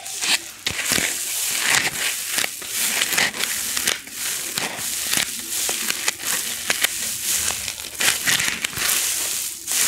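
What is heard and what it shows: A small white styrofoam packing block, held in the hand and against the microphone, is rubbed and squeezed with long nails and fingers. The result is a steady stream of bright, squeaky crunching and crackling, with sharper scratches breaking through and almost no low end.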